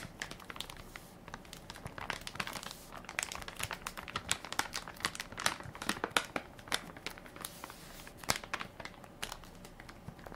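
A full, soft plastic-film baby wipes pack with a plastic lid is held in one hand while fingertips and nails crinkle and press its film top. Dense, bright, dry crinkling and crackling runs throughout with quick sharp snaps, quiet overall and with little low end.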